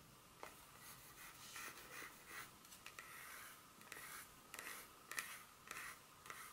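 Long pointed acrylic nails scratch and tap across the smooth back side of a solid, flat dark chocolate bar held in the palm. Quiet, bright scratching is broken by about eight short, sharp clicks that stop almost instantly, in an uneven rhythm.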